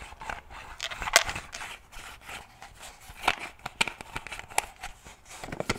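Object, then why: Plastic shaker bottle lid. Fingernails tap and click on the snap or screw lid of a black plastic shaker bottle. A steady run of sharp, bright clicks and taps sits over a soft, scratchy crackle. The sound is mostly high and dies away almost instantly, with little low end.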